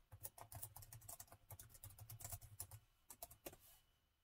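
Rapid two-handed fingertip typing on the plastic chiclet keys of a gold laptop keyboard. The result is a quick, uneven run of short, bright key clicks over a low thump that fades toward the end.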